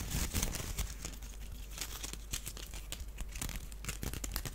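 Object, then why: Small woven wicker basket. A small, hollow, empty woven wicker duck basket is held in the hands and scratched along its weave with the nails. The result is a steady run of dry, crackling scrapes and rough ticks with bright edges over a low, dull undertone.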